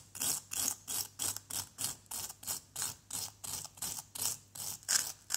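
A solid yellow plaster dig-kit block, held by hand, has its surface scraped with a flat white plastic scraper in a steady series of short strokes, about one and a half per second. Each stroke is a bright, dry, gritty rasp with almost no low end. The strokes stop cleanly between passes, with no ring.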